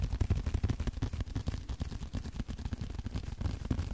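Fingertips tap and scratch a small blue leather card holder held edge-on. The result is a rapid, uneven stream of soft, dull, low thumps with faint scratchy texture between them. Each tap dies away at once, with no ring.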